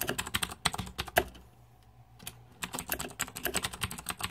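Fingertips type rapidly on the plastic keycaps of a green-backlit Razer 2014 Deathadder mechanical keyboard. Sharp, bright clacks come in quick bursts, pause for about a second, then pick up again in a steady run of keystrokes.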